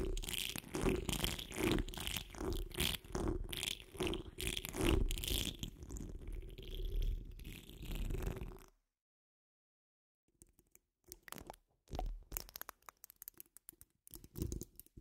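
A metal mesh microphone grille is scratched and gripped with fingertips, producing dense, rapid rustling scrapes with a deep thumping rumble and bright crackle for about nine seconds. After a brief silence, long nails laid across the dome scratch it in shorter, sparser bursts of scraping.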